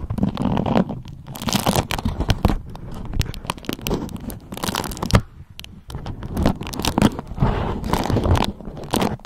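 A yellow beeswax-coated cotton food wrap sheet is draped and bunched while long nails scratch and tap it and crinkle it. Dense, crackly crinkles and sharp bright taps sit over a soft low rustle, with a brief quieter pause around the middle before the crinkling picks up again.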